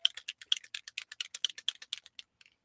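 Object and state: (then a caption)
Spray bottle with a mixing ball rattling inside. A mica spray bottle, stored on its side so the sparkles don't clump on the bottom, is shaken so its loose mixing ball rattles inside. The clicks are quick, bright and dry, with no low end, and the shaking stops after about two and a half seconds.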